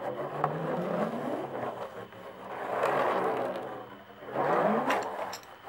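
Long nails scratch and tap the taut hide head of a hand tambourine stretched over a hollow wooden frame with metal jingles. The result is three rising and fading swells of dry, rasping scrape, with a sharp tap near the start and faint bright jingle glints.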